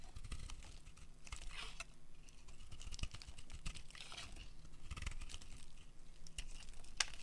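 A solid, dry pink soap bar is held in the hand and scraped and carved with a metal utility blade, with curls breaking off. The blade makes a steady run of dry, crinkly scraping and short crisp ticks with a bright edge over a low, soft rumble. A sharper snap stands out near the end.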